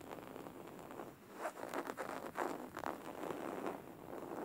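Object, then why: Linen fabric cushion. Fingernails scratch and tap a beige linen woven-fabric cushion lying flat. The result is a quiet, dry, scratchy rustle with soft irregular taps and brief louder swipes, mostly in the midrange with little low-end weight.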